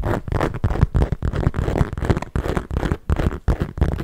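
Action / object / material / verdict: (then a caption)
scrape / small leather handbag / leather / none. A small, hollow black smooth leather bag with metal studs at its base is held up, then tapped and scratched with long nails. The result is a quick series of dull, low, muffled taps mixed with soft scraping and scratching, with very little ring after each touch.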